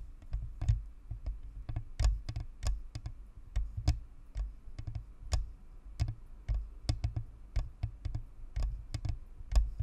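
Long manicured nails rest on the upper shell of a white, hollow, spherical plastic and metal Blue Snowball USB microphone, scratching and lightly tapping it. Rapid, irregular light clicks ring out sharp and bright over a deep, boomy low-end thump and rustle.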